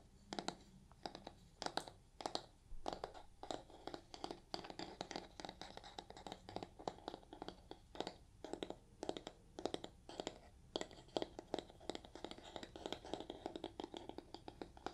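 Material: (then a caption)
Nylon scouring pad. Fingernails scratch the brown scouring pad side of a yellow foam kitchen sponge. The result is a quiet, rapid series of dry, raspy scratches with brief, sharp strokes. Each scratch stops almost instantly and carries a mid-range rasp with some bright edges.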